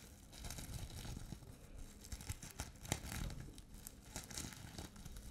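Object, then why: Plastic sequin fabric pouch. Long painted nails scratch and brush across a flat, soft, hollow pouch covered in multicolour plastic reversible sequins on fabric. The result is a continuous crinkly, tearing-like rustle with bright scratchy texture and frequent sharp little clicks.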